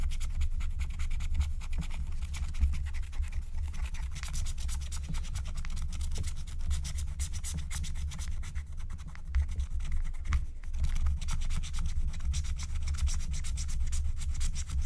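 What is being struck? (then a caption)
Scratch-art coated paper sheet and wooden stylus. A wooden stylus rubs and scratches the coating off a thin, black-coated scratch-art card lying flat, working in dense strokes. Continuous soft scratching and rubbing carries a steady low rumble underneath, with faint bright scraping detail over the top.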